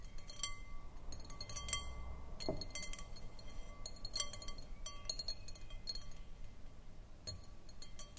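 Long painted nails tap and scratch around the outside of a round, clear, empty glass bowl on a short foot, standing on a wooden table. Quick, irregular bright clinks ring with a high glassy tone around 3.2 kHz and die away almost at once, separated by soft scratching.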